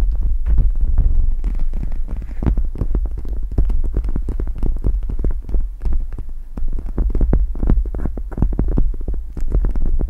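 A pink gel-bead eye mask is draped over a microphone while long red nails scratch and tap its gel-bead plastic. The result is a dense stream of short, soft taps and crinkly scratches over a deep, throbbing low hum.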